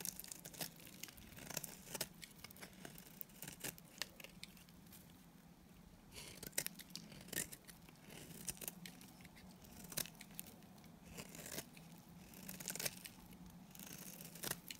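A utility knife blade shaves and scrapes along the edges of a solid oval white bar of dry Timotei soap. The result is quiet, crisp, bright scraping and crackling, with frequent sharp flaking ticks over a faint steady low hum.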